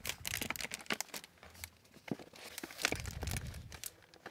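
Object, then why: Hardcover book with plastic-covered paper dust jacket. Close, crisp crinkling and tapping of a glossy plastic-covered book jacket, bright and papery with no ring.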